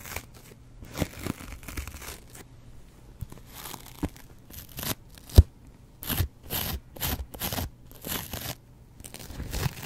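A double-edge razor blade, pinched in the fingers, scratches a yellow foam kitchen sponge with a green scouring layer. Short, dry, raspy strokes with a tearing, crunchy texture come in quick bursts, with a faint low thump under each pass and quiet gaps between.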